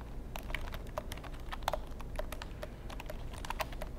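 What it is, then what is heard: Plastic computer keyboard being typed on. Fingertips type and tap on the keys of a long black plastic computer keyboard with a hollow casing. A quick, uneven run of short, crisp plastic clicks with bright edges sits over a steady low rumble, each tap dying away almost instantly.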